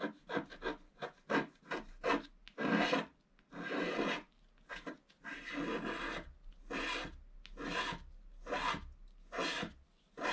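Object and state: Scratch-art paper being scratched.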